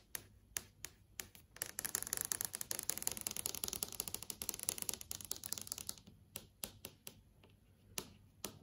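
Long yellow acrylic nails tap and trace across a large flat TV screen (plastic/glass panel) showing an app menu. Sharp, bright, dry clicks start sparse, build into a dense rapid flurry of tapping and scratching in the middle, then thin out to scattered single taps.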